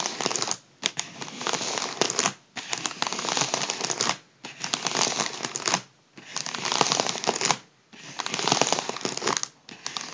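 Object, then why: Metallised foil (mylar) balloon. Fingertips press and crinkle the surface of a large, partly deflated, hollow gold metallised foil (mylar) party balloon. Bursts of dense, bright crackling and crinkling come one after another, separated by short quiet pauses. The sound sits mostly in the high range with almost no low end.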